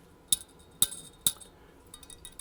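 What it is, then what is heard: Vacuum tube with a loose internal part. A glass 5Y4 rectifier vacuum tube from a 1938 Zenith 9S262 tube radio is tapped three times, giving three sharp, bright clinks around 3.7 kHz that die away almost instantly. The tapping is followed by a quieter, light rattling as the tube is shaken and its loose internal part moves. The loose part makes the tube faulty, and it should be replaced because it could short and damage the main power transformer.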